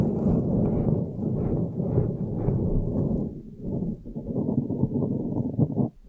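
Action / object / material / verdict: scrape / foam microphone windscreen / foam / none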